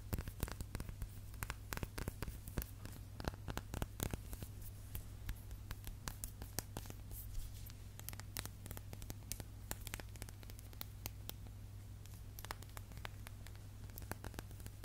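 A small hollow glass candle jar with a printed label, holding a lit candle, is held in the hands while fingertips and nails tap and scratch along its side. Quick, dense clicks and scratchy rustles run throughout over a steady low hum.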